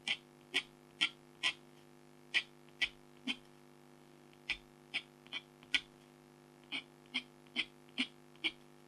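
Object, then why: Black-coated foil scratch art card scratched with a stylus. A red-handled stylus scratches fur lines into the tiger's chest on a flat, thin, black-coated scratch art foil card while the other hand holds the top of the card. Sixteen short, bright, dry scratches are heard in an uneven rhythm over a faint, steady low hum.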